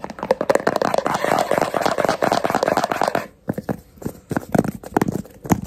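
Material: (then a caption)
Plastic. Fingertips and short nails tap and scratch the screw lid and sides of a medium yellow plastic Zwitsal lotion jar held in both hands. A dense run of quick, dry clicks and scratchy rustles fills the first three seconds, then gives way to sparser, separated taps.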